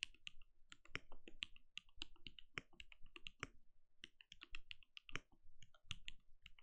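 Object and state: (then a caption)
Mechanical keyboard with plastic keycaps. Bare fingertips of both hands type steadily on a compact RGB-lit mechanical keyboard with a translucent plastic case and plastic keycaps, resting on a desk. A quick, uneven stream of crisp, dry keystrokes is heard, each a bright clack near 2.8 kHz over a soft low thud, dying away almost instantly.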